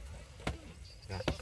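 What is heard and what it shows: A finger flicks a Sen Hồng SH65 watermelon on a farm in Tiền Giang to check whether it is solid inside. The flicks give short, low, dull "bong" thuds that die away quickly. The melon is judged good, ripe and solid-fleshed.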